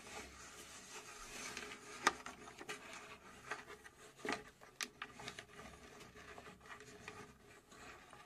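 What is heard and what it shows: Long nails scratch and tap the front and top of a small, hollow plywood mechanical puzzle safe box held in both hands. A soft, dry, bright rasping continues throughout, with short, crisp taps standing out in the middle and little low-end weight.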